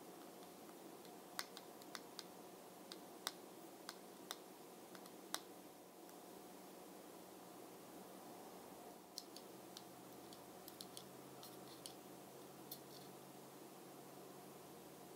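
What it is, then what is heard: Plastic makeup jar. Long fingernails tap the underside and edge of a small round plastic bronzer jar with a brown glossy lid, held above a cloth. Sharp, bright clicks come in irregular bursts, with a lull in the middle, over a quiet, steady hiss. Each tap dies away almost instantly.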